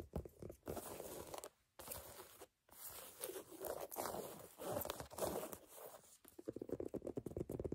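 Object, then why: Rubber shoe outsole. Long nails tap and scratch the solid ridges of a brown ridged rubber sneaker outsole held in both hands. Dry, crunchy scraping alternates with quick, clicky taps that decay almost at once. Brief silences break the texture, and the clip ends in a dense run of rapid tapping.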